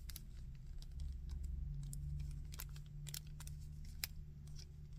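Fingertips and nails tap and scratch the back and chest of a small painted plastic Iron Man action figure and move its arms. The result is quiet, irregular, crisp clicks and brief scratchy ticks, with one sharper tap near the end, over a steady low hum.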